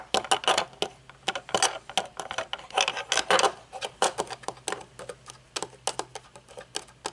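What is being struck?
Metal-frame sunglasses with dark lenses.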